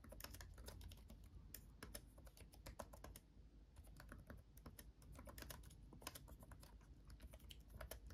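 Both hands type with their fingertips on a backlit laptop keyboard with plastic chiclet keys. Quick, dry clicks patter in an uneven stream over a steady low hum, with a brief lull in the middle.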